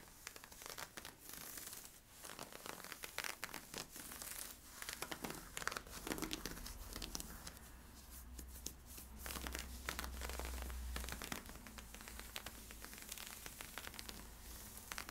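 Fingertips and nails scratch worn, stretchy camo-print polyester-spandex leggings near the waistband. The result is a dense run of dry, raspy scratching and crinkling strokes with bright, hissy texture, quick irregular bursts over a steady low hum.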